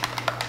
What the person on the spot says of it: You can hear the little ball in there shaking it around